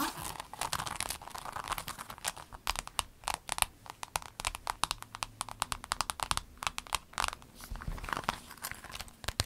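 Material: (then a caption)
Vinyl. Long nails tap and scratch a rainbow clear vinyl pencil case, giving a dense run of sharp, dry clicks and crinkly, bright scrapes. The pencil case is then lifted, ending in a softer rustle of plastic.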